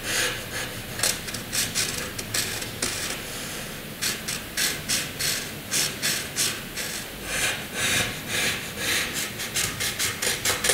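A graphite pencil draws short vertical strokes and shading on a flat white drawing sheet, making a dry, bright scratching sound. The scratches come in quick repeated bursts, with a faint low background hiss between them.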